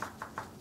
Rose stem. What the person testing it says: c'est un son complètement différent